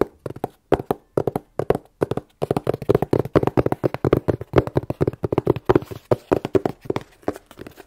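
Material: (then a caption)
Cardboard. A plain, hollow, closed corrugated cardboard shipping box is held in both hands and tapped with long nails in quick, uneven bursts across the clip. Each tap is a short, dry, hollow knock centered in the low-mids around 360 Hz, with almost no bright content and very little ring.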